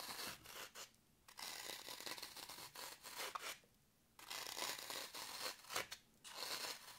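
A long pointed nail scratches deep grooves into a solid, porous green floral foam block held in the hand, and crumbs fall off. The sound is a dry, bright, crumbly scraping in quick bursts of strokes separated by brief silent pauses, with almost no low end and very little ring after each stroke.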